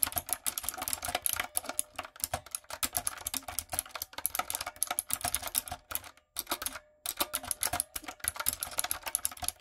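Fingertips and long nails type steadily on a light-up, typewriter-style retro mechanical keyboard with round plastic keycaps. Bursts of sharp, bright clicks and clacks with very short decay run almost continuously, broken only by a brief pause near the seven-second mark.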